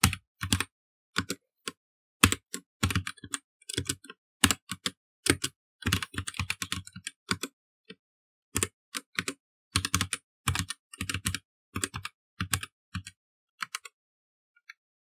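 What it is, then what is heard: Plastic mechanical computer keyboard. Both hands type rapidly with their fingertips on a black plastic mechanical computer keyboard. Quick bursts of sharp clicky keystrokes, each with a low thump under a bright click, are broken by short pauses. Every stroke dies away almost at once, and the typing thins to a few scattered taps at the end.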